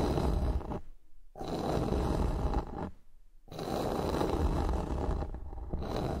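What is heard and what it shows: A flat, solid bamboo wooden board lying on a surface is scratched and tapped with the long nails of both hands. Three stretches of dense, low, rough scratching and scraping are separated by two brief near-silent pauses, with little brightness in the sound.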